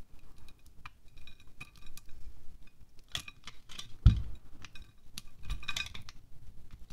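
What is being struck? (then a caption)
Wax pillar candle scraped with a small knife. A small red-handled knife blade scrapes and shaves wax off the top of a solid green pillar candle with a white top, held in one hand above a glass plate. Soft, dry scraping strokes and light bright ticks repeat throughout, with one louder, low thump about midway. The wax shavings fall softly onto the plate.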